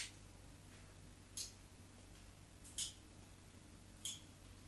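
A metal craft knife blade drags shallow grooves across the surface of a solid white bar of soap held by hand. Three short, bright scratches, each fading quickly, are separated by quiet over a steady low background hum.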